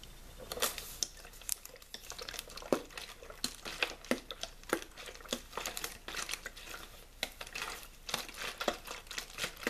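A small, clear, thin-walled plastic water bottle with a blue label, hollow and mostly empty, is held in the hand and squeezed and crinkled by fingertips. Quick, dry crackles and sharp snapping pops come in a steady irregular stream, bright and light with almost no low end, each click dying away almost instantly.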